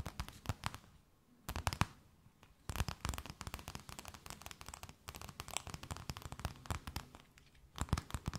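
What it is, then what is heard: Thin plastic bag. A thin, empty, clear plastic bag held between both hands is tapped, scratched and crinkled with long nails. Bursts of sharp, dense crackling taps sweep from low up into bright tones. They are broken by short quiet pauses near the one-, two- and five-second marks.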